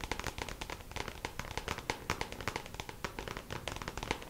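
Long pink acrylic nails tap quickly on the lid of a small, hollow, clear plastic compartment organizer box filled with press-on nails, lying flat. A rapid, steady run of crisp, bright plastic clicks follows, each with a short hollow ring that dies away almost at once.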